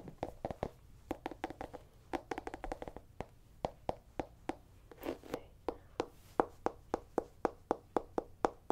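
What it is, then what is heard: Small pumpkin, hollow. A small, whole, hollow orange pumpkin held in the hand is tapped and scratched with long painted nails. Quick, dry, hollow taps with a mid-pitched knock come in irregular bursts, broken by a brief scratchy rasp around the middle. The clip then settles into a steady, evenly spaced run of taps.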